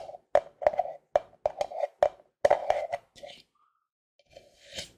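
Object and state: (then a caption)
Plastic cream tub tapped with nails and fingertips. A large, hollow white plastic Cetaphil moisturizing cream tub with a blue label is held in the hands and tapped and scratched with fingertips and nails close to the microphone. A rapid series of short, hollow knocks with a mid-pitched tone around 570 Hz dies away almost instantly. Quieter, hissy scratching follows near the end.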